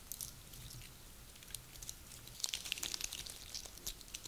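A double handful of small, dry, lightly glittered pine cones with solid woody scales is lifted from a table and squeezed and rubbed between both hands with fingertips and nails. The result is a quiet, crinkling, crunchy rustle of bright, sharp crackles over a faint low rumble. The crackles grow denser and louder in the second half.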